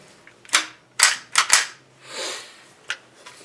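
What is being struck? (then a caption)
Gun buttstock with a small kit hidden inside. A gun buttstock with a small survival kit hidden inside is shaken, and the contents rattle in five sharp, bright knocks with a brief softer shuffling swell between them. The clatter is crisp and high-pitched with no low end, showing the hidden kit can be heard only when the stock is shaken.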